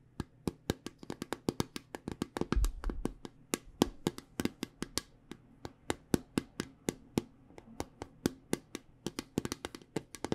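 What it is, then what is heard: Small round metal tin. A small round metal tin from the Spot It card game is tapped around its side with long painted nails and fingertips. The result is a quick run of sharp, dry clicks with bright tops and almost no ring. A brief low thump rumbles near the middle.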